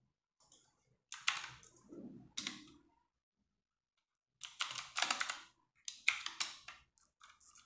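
A compact 60% RGB-backlit mechanical keyboard with plastic keycaps is typed with fingertips and long nails in slower key presses. Bright, clacky plastic clicks come in short bursts separated by silent pauses, with a quiet lower thock under some strokes.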